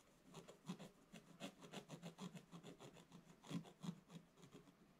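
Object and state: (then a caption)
Scratch-art paper page being scratched. A wooden stylus held upright scratches vertical strokes into the black coating of a scratch-art paper page lying in a flat book. A quick, uneven run of soft, dry rasping strokes follows, each with a low papery rub and a faint bright scratch, with a couple of louder strokes near the middle and end.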